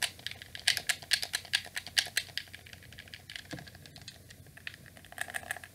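Fingers repeatedly press the shoulder buttons and face buttons of a black, hollow plastic PlayStation 2 controller held close. The result is a rapid, irregular series of sharp, bright plastic clicks with almost no low end. The clicks thin out and soften in the middle before picking up again at the end.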